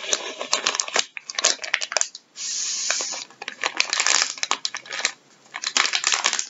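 Gloved fingertips scratch, press and crinkle a full, soft plastic packet of wet wipes resting on a wooden table. Bursts of bright, crackly crinkling come in clusters, broken by short quiet gaps. A smooth, steady rubbing hiss fills the middle of the clip.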